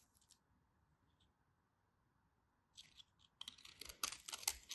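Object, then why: Bar soap. A craft knife shaves and scrapes the edges of a solid white bar of soap into crumbly flakes. The clip opens nearly silent with a few faint, bright scratches, then breaks into a dense run of crisp, high, crunchy scraping strokes in the last second and a half.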